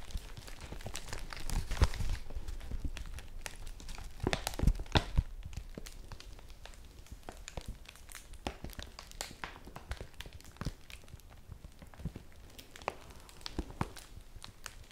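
Long nails scratch and rub the textured surface of a large, folded yellow woven polypropylene bag held flat in both hands, making it crinkle. The result is a close, steady stream of dry crinkles and scratchy rustles, with a few louder crunching bursts early on before the sound settles into softer, rapid scratching.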